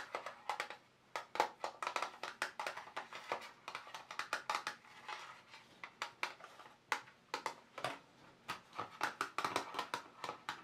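Fingertips and short nails tap the ridged lid of a small, closed, hollow black glossy plastic watercolour paint box lying on fabric. The result is a quick, irregular run of dry, hollow plastic clicks and taps centred in the midrange with a bright edge. Each tap dies away almost at once, with no low-end body.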